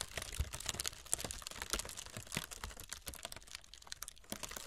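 Long nails and fingertips scratch and lightly crinkle the surface of a brown, layered, hollow honeycomb kraft paper packing wrap roll. The result is a dense run of quick, dry, bright scratches and crackles with no ringing, plus soft low thumps underneath.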